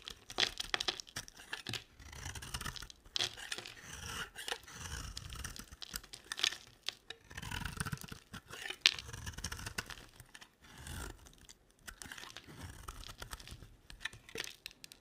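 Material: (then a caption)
Soap. A utility knife blade shaves a dry, hard, rectangular solid olive-green soap bar, and green flakes fall off. Quiet, bright, crisp scraping strokes repeat in quick bursts throughout, with short tearing rasps and small crinkles as the flakes peel away. The sound centers high around 3.6 kHz, with little low end and almost no ring after each stroke.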